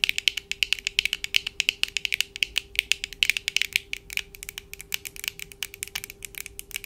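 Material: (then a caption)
Plastic. Long acrylic nails on both hands tap and click rapidly on the lenses and frames of black plastic-framed eyeglasses worn on the face. The result is a dense, continuous stream of sharp, bright, high-pitched clicks that die out almost instantly, with almost no low end and a faint steady tone underneath.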